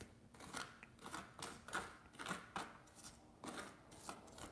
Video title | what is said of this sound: COOK WITH ME LIVE - FLATBREAD PIZZA 🍕- RECIPE IN DESCRIPTION! | listen to how crispy that is